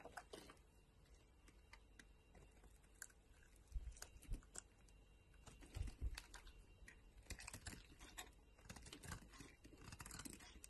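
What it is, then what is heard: Bar soap being shaved. A solid green bar of soap is carved and shaved with a metal utility knife blade, flakes piling up. Quiet, crisp scraping and cutting ticks come in irregular bursts over a low background hum, with a few sharper, louder cuts around the middle.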